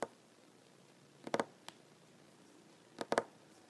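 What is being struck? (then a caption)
Wooden tabletop. A large, solid wooden tabletop is tapped with short nails and fingertips, with some knuckle contact. Quiet, dry taps come in small quick clusters separated by near silence; each tap is short, with almost no ring, and its tone sits mostly in the low-mid range.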